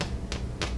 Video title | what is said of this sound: Raisin Bread - Bread Pan Comparison | when you tap them on top they sound hollow